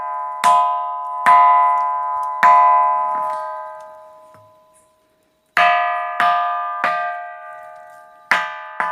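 The Pedra do Sino, a rock boulder on a hill near Brejinho de Fátima in Luís Correia, Piauí, is struck eight times by a local guide and rings like a church bell, with bright metallic tones that slowly fade between strikes. Only this rock among those around it makes this sound.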